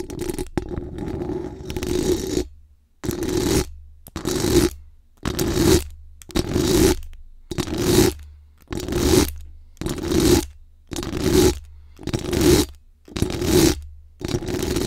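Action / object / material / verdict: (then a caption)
scrape / metal mesh microphone grille / metal mesh / none. Extra-long acrylic nails on both hands rapidly scratch and tap the hollow, rounded metal mesh grille of a bare USB condenser microphone with a rhinestone-decorated body. The sound is a string of close, aggressive bursts of bright, crackling scratching over a low rumble, repeating roughly once a second with short silent gaps between them.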